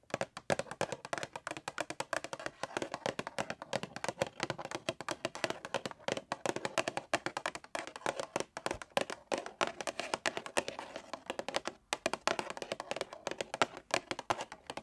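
A small hollow cardboard Chucky Funko Pop box with a clear plastic window and a figure inside is held in one hand and tapped with long pointed acrylic nails. The result is a steady stream of rapid, light, crisp clicks and ticks that die away almost instantly, centered in the midrange with almost no low end.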